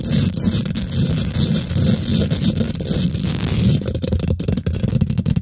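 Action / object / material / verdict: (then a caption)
scrape / woven metal mesh microphone grille / metal mesh / none. Long nails and fingertips on both hands rapidly scratch and tap the domed, hollow woven metal mesh grille of a large silver condenser microphone. The sound is a dense, boomy, low-heavy rumble of scraping with a constant flutter of quick taps. It turns into sharper, more separate clicks in the last couple of seconds.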